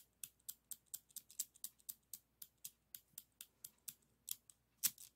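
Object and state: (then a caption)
Plastic zigzag craft scissors. A hand opens and closes a pair of yellow and red plastic pinking (zigzag) craft scissors with a metal blade insert and a hollow plastic body. About 21 short, bright plastic clicks and snips come at a quick, uneven pace. Each one dies away almost at once over a quiet background.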